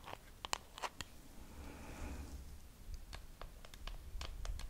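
Long acrylic nails scratch and tap a small, hollow pink plastic compact case with a wavy raised pattern. Sharp, bright clicking taps come at the start and end, with a softer scratching rasp across the patterned surface in the middle. A low, steady rumble sits underneath throughout.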